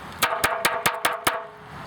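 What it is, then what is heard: Porous low-fired clay pot. A porous, low-fired Mexican clay pot is tapped six times in quick, even succession. Each tap gives a short, dull knock that dies away within about a tenth of a second, with a faint tone near 1.1 kHz. Its pitch is lower than that of harder, high-fired pottery.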